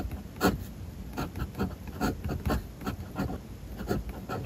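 A metal fountain-pen nib scratches steady writing strokes across flat white paper in a spiral notebook. Soft, dry scratching swells and fades with each stroke. The quiet, low-weighted sound carries little bright edge.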